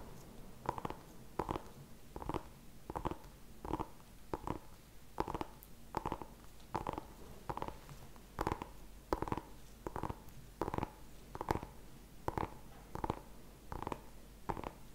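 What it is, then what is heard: Small pumpkin tapped. A small whole orange pumpkin is held in both hands while fingertips and nails tap and scratch its ribbed skin. The result is a steady series of short, dry, hollow knocks with a midrange tone, each dying away almost instantly, with faint scratchy brushing between them over a low, quiet background.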